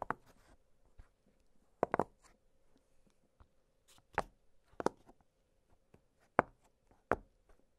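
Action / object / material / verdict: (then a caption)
tap / silicone push-pop fidget toy / silicone / none. Fingertips press the bubbles of an octagonal blue silicone push-pop fidget toy, producing short, soft pops spaced irregularly over a quiet background with a faint steady hum. Each pop is a dry, brief click-like snap that dies away almost instantly.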